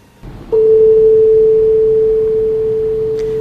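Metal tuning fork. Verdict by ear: Pure.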